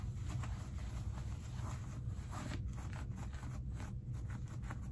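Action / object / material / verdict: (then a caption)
scrape / cotton denim jeans pockets / denim / none. Hands dig into the front pockets of dark stretch cotton denim jeans and pull the linings out. The result is a steady, low, muffled rustle of fabric, with soft scraping and rubbing bursts that rise and fall throughout.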